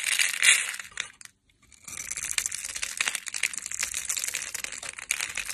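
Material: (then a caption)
Soap. A metal knife blade scrapes and crushes a solid, hand-sized brownish bar of soap, pre-scored in a grid and held in the hand, breaking crumbs off. Bright, crisp crunching and scratching swell to a loud burst early on, fall silent briefly, then resume as a steady, dense crackle of small gritty snaps to the end.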